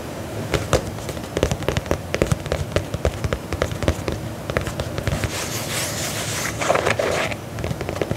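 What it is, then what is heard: Faux leather boot scratched. Fingernails scratch the upper of a black faux leather lace-up combat boot held upright, producing a dense run of short, dry crackling clicks and scrapes. The sound grows into a brighter, hissier rasp partway through before returning to sharp ticks.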